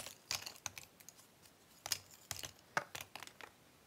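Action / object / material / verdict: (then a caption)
scrape / cardboard jigsaw puzzle pieces in a cardboard box / cardboard / none. Two hands sift through loose cardboard jigsaw puzzle pieces in a cardboard box, picking pieces up and rubbing them between the fingers. The result is a quiet run of dry, bright clicks and papery rustles in irregular bursts, each dying away almost instantly with no ring.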